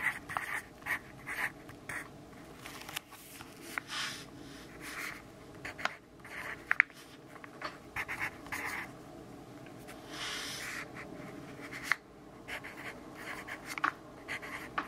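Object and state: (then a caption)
Pencil writing on paper notebook. A graphite pencil writes lines of text on an open grid-paper notebook resting on a wooden desk. Soft, bright scratching comes in short strokes and bursts, with small sharp taps scattered throughout the clip.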